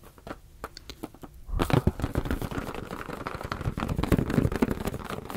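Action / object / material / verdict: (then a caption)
tap / inflated latex balloon / latex / none. A hand-sized, hollow, air-filled blue latex balloon is held in both hands close to the microphones and tapped and rubbed with fingertips. Quiet, sparse taps in the first second and a half give way to louder, dense rubbing, crinkling and tapping that continues to the end. The sound is mostly low and dull, with short, dry hits.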